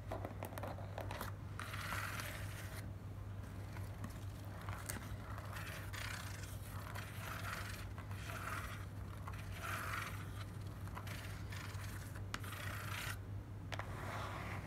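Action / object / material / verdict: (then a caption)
scrape / corrugated cardboard box / cardboard / none. Long black nails scratch and rub across the surfaces of a small, closed, hollow corrugated cardboard box. Steady dry scraping and rustling textures are heard over a constant low hum.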